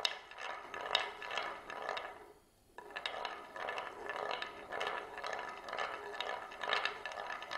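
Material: Wood.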